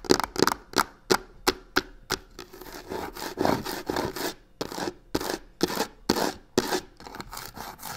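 Long nails scratch and rub fast at the corner of a hollow box covered in black crocodile-texture faux leather. Quick, dry, bright scratching strokes come in sharp bursts, blur into a denser stretch of continuous rubbing midway, then return to distinct strokes.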